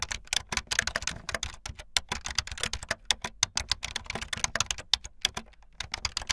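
Fingertips with long light-blue nails type fast on a full-size plastic keyboard with white, blue and yellow plastic keycaps and a blue backlit frame. A rapid, steady stream of sharp, bright clacks follows, each one dying away almost instantly with little low end.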